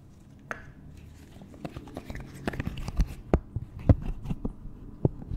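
A hand-sized pastel pink and blue octagonal silicone pop it fidget toy with hollow bubbles is held in one hand and tapped and scratched with the long nails of the other. The result is an irregular series of soft, dull taps and sharp little clicks over a faint, low, scratchy rustle, with each tap dying away almost instantly.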